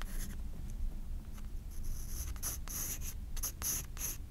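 A graphite pencil scratches long curved lines across a white paper page of a spiral sketchbook. Bright, hissy scratching comes in a series of strokes of varying length over a soft low rumble.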